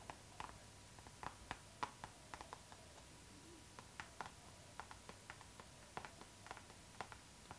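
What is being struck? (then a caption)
Clear PVC plastic zipper pouch. Long acrylic nails tap and scratch the glossy surface of a clear pink PVC zipper pouch, a transparent pink plastic bag lying flat, hollow and soft. About 17 quiet, sharp, clicky taps sound at an irregular pace, each dying away almost instantly. A faint steady tone near 1 kHz and soft scratchy rustle run underneath.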